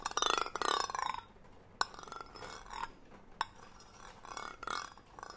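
A hollow green cylindrical metal tin with a gold metal lid, held near the mic, is scratched and tapped on its lid with the handle end of a brush-like tool, with long nails on the side. Bright, ringing scraping sweeps with a tone near 1.1 kHz open the clip, followed by quieter rubbing scratches. Two sharp, short metallic taps stand out within the scratching.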